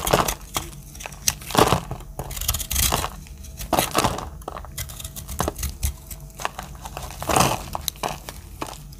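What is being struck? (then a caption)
Bar of soap cut with a metal blade. A metal utility-knife blade cuts into a round, pink speckled, solid palm-sized bar of dry soap, flaking its dry surface. Repeated dry, crunchy scrapes and crumbly crackles come in uneven bursts, each stroke ending quickly with little ring.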